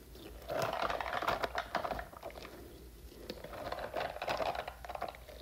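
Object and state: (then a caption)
Silicone puffer toy scratched and tapped. Long nails scratch and tap the spiky surface of a hand-sized, hollow blue silicone puffer toy with a fringe of strands. Two dense bursts of quick, crackly scratching and light tapping rise and fall, with a quieter rustling stretch between them.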